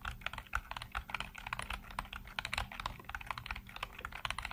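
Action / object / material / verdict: tap / plastic computer keyboard / plastic / none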